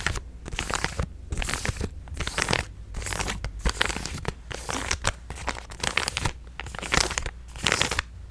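A hand-sized purple resealable plastic supplement pouch is handled, crinkled and tapped with fingertips and nails. Bursts of bright, crackling crinkle alternate with brief quieter gaps, with sharp taps throughout. A steady low hum runs underneath.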